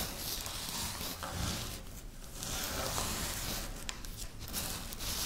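Long natural nails and fingertips rub and scratch through a pile of dry, crushed wafer biscuit crumbs on a pinkish stone-like surface. Close-up, continuous crunchy, gritty rustling runs throughout, with bright crackle on top of a low rumble.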